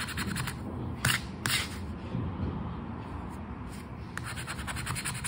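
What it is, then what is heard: Paper scratch card being scraped. A coin-like token scrapes across a flat paper 20X scratch card to reveal the numbers. Rapid, gritty scratching strokes repeat throughout, with a couple of sharper, brighter scrapes standing out early on.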